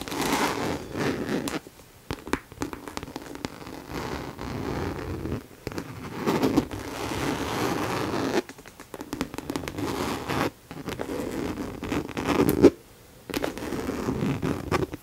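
Long nails scratch and tap the hollow back panel of a pink faux leather handbag with a zip pocket, held up by its handle. Dense bursts of crackly, papery scratching fill the low-mid range, broken by brief silent pauses between strokes, with sharp tapping clicks mixed in.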